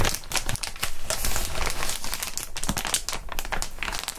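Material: Plastic.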